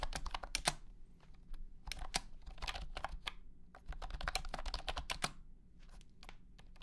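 A blue and white honeycomb keyboard with hexagonal plastic keycaps in a hollow plastic case is typed on with the fingertips of both hands. Quick bursts of sharp, bright plastic clacks ride over a low hollow thump, each keystroke dying away almost instantly. Brief pauses break up the bursts, and the typing grows softer toward the end.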